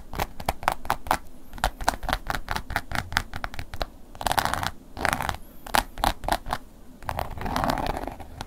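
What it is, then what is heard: Leather wallet scratched. A wooden ear pick scratches a black woven-embossed leather long wallet, first lying flat and then lifted upright. Quick, dry scratching strokes sound in rapid bursts, with a few longer scraping passes mixed in. The sound is a crisp, raspy texture with low handling noise underneath.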